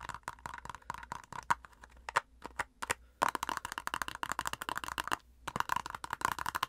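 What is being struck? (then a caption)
Plastic cosmetic squeeze tube. A filled white plastic face-mask squeeze tube has its crimped end and body tapped and scratched with long nails. It makes fast, irregular bursts of crisp clicking taps and scratchy rasps, with a bright ring near 1 kHz and short pauses between runs.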